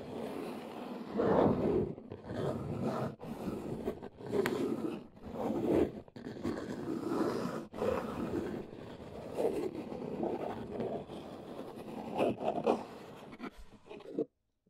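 Long nails scratch and tap along the top edge of a large, hollow brown corrugated cardboard box. The result is a steady run of dry, scratchy scraping with a papery, mid-range texture. Louder swells and brief pauses break it up before it cuts off near the end.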